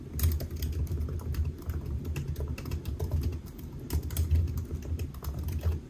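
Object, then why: Laptop keyboard with plastic keys. Fingertips of both hands type steadily on the black plastic keys of a solid silver aluminium laptop resting on a white desk. The result is a continuous, rapid run of soft, dull taps with a low, muffled thump near 86 Hz and faint bright clicks on top. Each tap dies away almost instantly.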